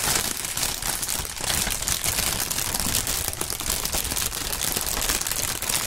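Clear printed polyethylene air-cushion packaging film, the plastic air pillow kind, is crinkled between two gloved hands. A dense, steady crackle of bright, crisp crinkling runs throughout, with a light low rustle underneath and no pauses.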